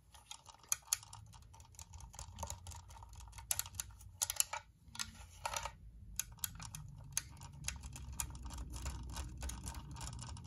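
Long painted nails tap fast on a white, hollow plastic UV nail lamp. The result is a dense run of sharp, bright plastic clicks that die away almost instantly. A low rumble underneath grows slightly louder toward the end.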